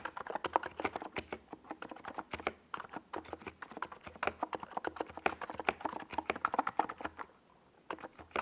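Fingertips of both hands type on a compact NiZ Plum Atom 68 mechanical keyboard, with a hollow white plastic case and purple and yellow plastic Domikey Gas Attack SA keycaps, resting on a desk pad. A quick, steady run of dozens of short, clacky keystrokes centers in the midrange with a faint low thump under each. It pauses briefly near the end before a few more presses.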